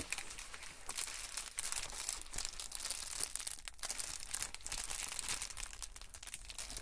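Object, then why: Plastic poly bubble mailer. A white and blue Amazon Prime poly bubble mailer, flat and padded and holding a package, is handled and pressed with fingertips and palms on a table. Its plastic gives steady, bright crinkly rubbing and crackling with many quick, dense rustles throughout.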